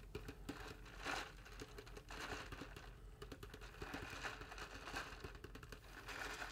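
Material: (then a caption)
Styrofoam. A large styrofoam cup with a blue printed band and a straw, holding water, is held in both hands while fingertips tap quickly on its side. The result is a quiet, continuous run of soft, dry clicking taps with a crinkly, squeaky texture, short ring, and occasional brighter squeaks around 1.4 kHz.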